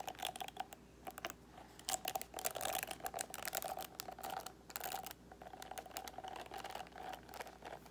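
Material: Plastic.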